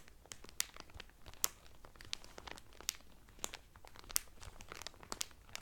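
Fingertips and medium-length painted nails press and crinkle the loose, thin clear cellophane sealing a folded blue terry Carnival towel lying flat on a table. The result is soft, steady, bright crinkling and crackling, punctuated by sharp, brief snaps that stop almost instantly.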